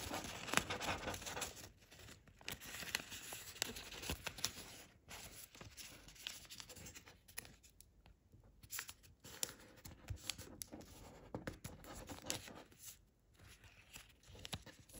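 A folded square of thin chiyogami origami paper, being folded into a crane, is held in both hands and creased and rubbed by fingertips and thumbnails. Quiet, bright crinkling and dry scratchy rustles come in irregular bursts of short, sharp crackles, with brief near-silent pauses.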